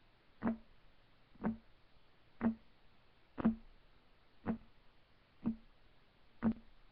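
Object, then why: Wooden table top. Fingertips of both hands tap on a flat, solid, light wood desk top. Seven short, dull knocks land about one second apart, each with a low woody tone around 220 Hz. Each knock dies away almost at once, leaving quiet between taps.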